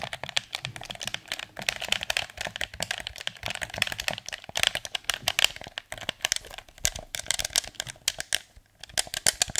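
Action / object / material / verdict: tap / plastic game controller / hard plastic / none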